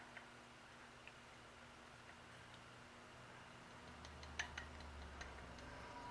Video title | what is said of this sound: Machining a Model Steam Engine - Part 7 - The Base (a) | you can tell if something's flat by just tapping on it